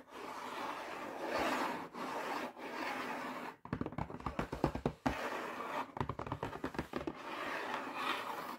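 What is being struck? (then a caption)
Printed cardboard box. Fingertips and nails scratch across the flat printed surface of a full Sainsbury's cheese and garlic pizza bread box made of thin cardboard, giving a steady, airy scraping hiss. This is broken by two bursts of quick, dull taps with a low papery thump. The scratching then resumes to the end.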